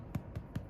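A baked bread roll is turned over and tapped three times on its underside, giving short, dull, low-pitched knocks that die away almost at once. The hollow sound shows the roll is well baked through.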